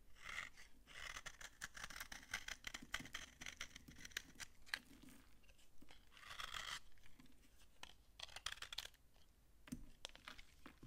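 A utility knife shaves crunchy flakes off a solid, dry yellow soap bar held in the hand. Dense, bright scraping crackles come in bursts of short, sharp clicks over a quiet, low background.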